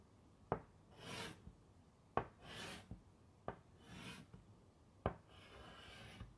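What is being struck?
Chalk on a wood-framed chalkboard.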